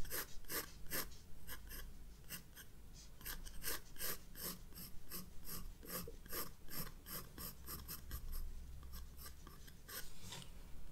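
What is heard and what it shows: A graphite pencil draws short hatching strokes on the white paper of a spiral-bound sketchbook resting on a desk. Quick, dry scratching strokes follow one another with bright, hissy edges over a steady low hum.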